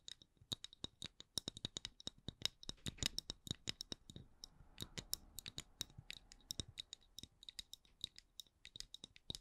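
Long acrylic nails tap and scratch a solid, palm-sized, round wooden candle lid with a printed logo. The result is a quick series of sharp, dry clicks, each with a bright tone near 3.8 kHz and almost no ring, mixed with soft scratching rasps at a low, quiet level.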